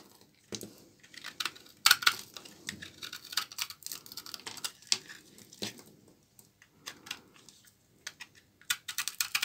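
A knife blade scrapes thin shavings off a solid bar of dry, old brown laundry soap held in the hand. Crisp, bright scraping rasps come in quick irregular bursts with short pauses between them. The sound is dry and brittle, with almost no low end, and each scrape cuts off sharply.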